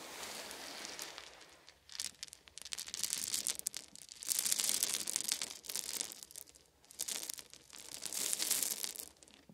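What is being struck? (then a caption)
Small wooden beads. Small solid wooden beads are scooped up in cupped hands and poured back onto a soft blanket. Bright, dense clicking and rattling comes in repeated swells, rising and fading as each handful is lifted and let fall, with almost no low end.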